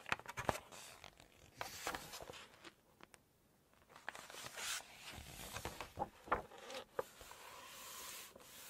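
Long nails turn the glossy pages of an open Chinese cookbook, making soft, bright rustling swishes. They then tap and scratch across the glossy paper, adding sharp, dry clicks and light scraping between quieter pauses.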